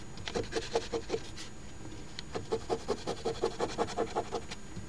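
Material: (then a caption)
Paper. The edge of a coin held in the fingers scratches the coating off the letter squares of a thin paper Ontario Lottery OLG $10 Crossword Deluxe instant scratch ticket (#3354) lying flat on a table. Quick, fairly regular rasping strokes come about two to three per second, each with a dry papery hiss and a faint buzzing tone, with a brief quieter pause before the scratching resumes.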